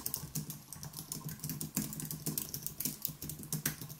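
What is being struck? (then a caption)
Aluminium keyboard with plastic keys. Both hands type rapidly with their fingertips on a white Apple Magic Keyboard with plastic keys and an aluminium body, resting on a wooden desk. The steady stream of quick, bright key clicks has a soft low thump under each press. Each tap dies away almost at once.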